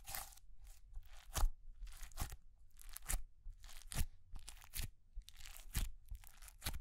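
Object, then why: Clear slime packed with small plastic beads. A palm-sized ball of clear, glittery slime packed with small white plastic pearl beads is held in one hand while long grey-painted nails and fingertips press, squeeze and poke it. Each squeeze gives an irregular burst of crunchy, bright bead crackles over a soft, low, squishy background, with quiet gaps between.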